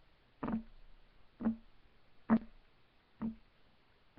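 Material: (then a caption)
Wood. Fingertips of both hands rapidly tap a flat, solid, light wooden desk top. Five short, dull knocks land about a second apart at an uneven pace, each with a low wooden tone that dies away almost at once.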